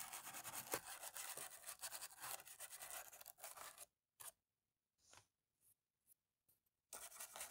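A cotton swab on a stick rubs and scrapes between the keys of a dirty black plastic laptop keyboard to clean it. A dense, bright, scratchy rubbing runs for about four seconds, then breaks into short separate scrapes with silent gaps. Continuous rubbing returns at the end.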